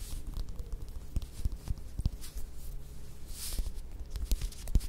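Long nails scratch and tap the peel of a small whole mandarin orange held in the hands. Quiet, dull, low taps and soft scratchy rustling come in an irregular series, with faint bright flicks of peel texture over a steady low rumble.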